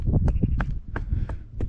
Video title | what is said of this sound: 🇹🇷 Foraging in Kappadocia | you can hear it when you knock on the rocks here ... sounds very hollow